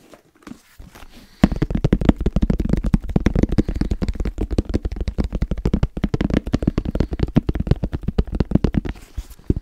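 Fast tapping on a headphone case: after about 1.4 seconds of faint, scattered sounds, a continuous run of quick, dry taps follows with very short decay and mostly low-frequency body around 200 Hz, continuing to the end of the 9.6-second clip.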